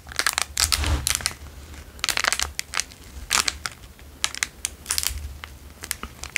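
A square clear plastic wrapper is crinkled and squeezed between fingers. It gives bursts of sharp, bright crackling and crinkling, some short and some running longer, with quieter pauses between them.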